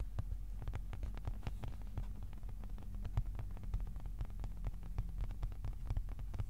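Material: Cardboard.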